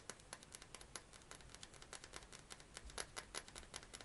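A hand-sized, clear thick glass perfume bottle with a metal cap is tapped and scratched with fingernails. A fast, steady run of sharp, bright clicks and taps follows, each dying away almost at once, with faint scratchy texture between them.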